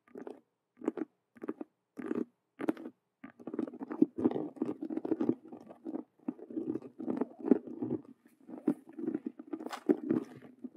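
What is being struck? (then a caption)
Faux leather cube-shaped handbag. Long nails scratch and tap fast on a hollow faux leather Rubik's cube handbag with stitched colored vinyl squares. A few spaced bursts of scuffing give way to dense, continuous scratching with quick taps. The sound is a dry, low-mid rasp with little bass or high end.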